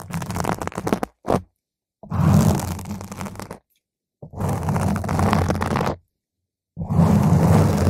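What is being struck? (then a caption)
Foam microphone windscreen. Long, pointed green acrylic nails scratch a purple spherical foam windscreen on a microphone, working from the side and the top. The result is dense, rumbling, low-heavy scratching with a bright crackly edge, heard in several long bursts separated by short silences.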